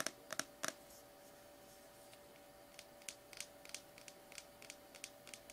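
Painted nails tap rapidly on the labeled side of a small plastic slime tub held in the hands, making crisp, bright, typing-like clicks. A few louder clicks open the clip, followed by a quiet pause, then a run of lighter, quick taps. A faint steady hum sits underneath throughout.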